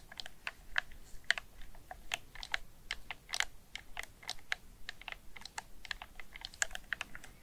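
Fingertips with painted nails press and click the face buttons, D-pad and thumbsticks of a black hard-plastic PS4 DualShock 4 controller, a hand-sized hollow gamepad held in both hands. A rapid, uneven stream of short, dry, bright clicks with no ring, over a quiet low background.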